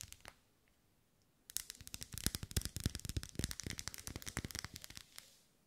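Long nails tap and scratch the vertical ribs of a lit, solid pink wax pillar candle as it is held and moved side to side. A couple of light taps are followed by a quiet pause, then a dense, irregular run of quick, dry clicks and scratches with bright, crisp edges before it tapers off.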